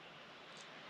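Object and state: Nothing is struck.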